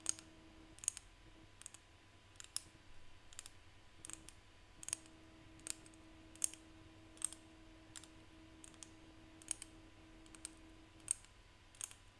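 Seashells are tapped by hand, giving a string of sharp, bright, dry clicks at irregular intervals over a quiet background with a faint steady hum. Each tap is brief and dies away almost instantly.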